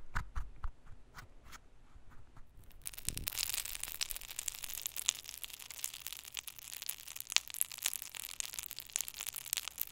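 A flat wooden stick scrapes and crushes purple glitter pressed eyeshadow, already partly crumbled, in the pan of a small round black plastic compact. A few short, separate scratches come first, then a dense, steady, bright crunching and grinding of the powder runs to the end.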